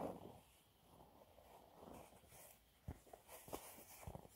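A dry, yellow, embossed cellulose sponge cleaning cloth, a thin flat sheet about A5 size, is held up in both hands and scratched, tapped and gripped with short fingertips and nails; rings are on the fingers but do not strike it. Quiet, soft scratching and dry rustling fill the clip, broken by two sharper, quick-onset taps with brief bright clicks and little ring.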